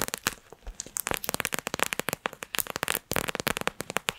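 A small squishy plastic pouch filled with gel beads, with yellow glitter and cartoon eyes, is held in both hands close to the microphone while long nails squeeze and tap it. It gives a rapid run of about twenty short, sticky, bright crackles and cracks with no ring.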